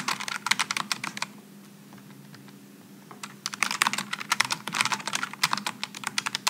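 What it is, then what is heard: Low-profile mechanical keyboard typing. Both hands type with their fingertips on a Logitech G915 low-profile mechanical keyboard with GL low-profile switches and aluminum and plastic keycaps. Quick bursts of bright, sharp clacks with almost no ring stop for a quiet stretch in the middle, then resume. A faint steady low hum runs underneath.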